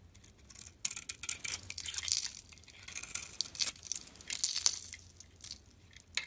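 A solid, pink glittery bar of soap held in the palm is shaved and scraped with a metal utility blade, producing white flakes. Irregular bursts of bright, crisp rasping and crackling strokes come and go, with almost no low end. Each scrape cuts off quickly with no ring.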